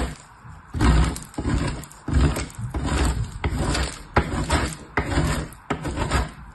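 A purple bar of soap is rubbed with fingertips across a perforated, painted metal box grater that lies hollow on a patterned surface. Repeated grating strokes give dense, low-heavy rasping scrapes with a brighter gritty edge, swelling and fading with each pass.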